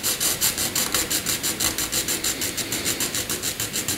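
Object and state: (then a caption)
Pencil shading on drawing paper. A graphite pencil is rubbed across a flat sheet of white drawing paper in fast horizontal back-and-forth shading strokes. About 22 quick, bright, scratchy rasps repeat at a steady rhythm, each a short burst of high hiss with little low end.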